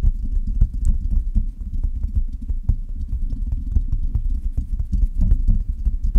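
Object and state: Metal microphone tapped with fingernails.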